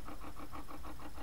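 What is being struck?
Nothing is struck.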